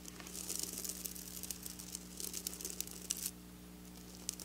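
Long black nails scratch and flick across flat silver sequin fabric, making quiet, bright crinkling and scratching with crisp little ticks. A steady low hum runs underneath. The scratching thins out near the end before one last sharp flick.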